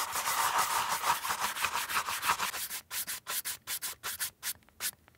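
A beige leather Chanel ballerina flat with a black cap toe, held in one hand, is brushed with a wooden-handled horsehair brush in repeated rubbing strokes across the upper and the sole edge. For the first few seconds the strokes run together into a dense, bright bristly scrubbing. They then separate into short, crisp swipes with brief silences between them.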